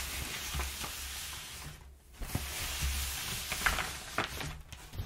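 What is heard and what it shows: Fingertips and long nails rub and scratch perforated, crumpled kraft packing paper, making a steady dry crinkling hiss with a low hum underneath. The rustle briefly drops away near the middle, then returns with sharper scratches and crackles.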